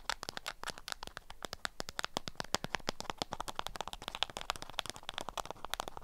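Long acrylic nails rapidly tap and scratch a small handheld bundle wrapped in orange-print beeswax-coated cotton. The result is a dense run of sharp, dry clicks and crinkly rustles from the stiff waxed fabric, each tap dying away almost instantly.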